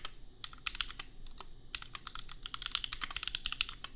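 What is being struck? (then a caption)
Mechanical keyboard with plastic keycaps. Fingertips of both hands type on a compact $250 custom mechanical keyboard with Gateron Milky Yellow switches and red/pink plastic keycaps. Quick, uneven runs of bright, sharp plastic clacks come close together, each dying away at once with no ring, over a faint low rumble.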